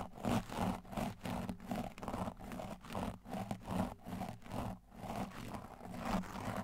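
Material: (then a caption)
Foam. A blue and white tile brush with stiff plastic bristles is brushed aggressively over a large black foam windscreen on a microphone. The result is a quick, uneven run of rough scratching strokes with a dense, low, muffled rasp and little high-end hiss.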